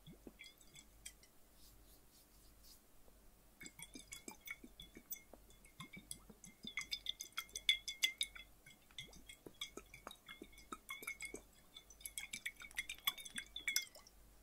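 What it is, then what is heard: Glass bottle partly filled with water. A flat, clear, hollow glass bottle, partly filled with water and held in both hands, is tapped with the fingertips and tilted so the water sloshes inside. Quick, irregular, quiet taps produce bright, high glassy clinks with a very short ring, mixed with soft wet sloshing, and the tapping grows busier and louder through the middle and again near the end.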